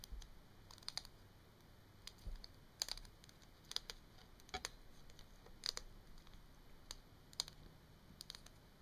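Long nails tap and click along the hollow barrel of a small capped plastic Sharpie marker lying on a wooden table. Sharp, quiet, bright clicks come in irregular clusters over a faint background hiss, each dying away almost instantly.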